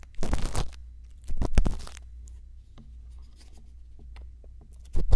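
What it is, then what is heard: Silicone ear scraped with a bamboo earpick. A thin bamboo earpick makes small scratching strokes inside the ear canal of a silicone ear on a binaural microphone. Three bursts of close, dry scratching rustle stand out, with faint soft scrapes in the quiet between them over a steady low hum.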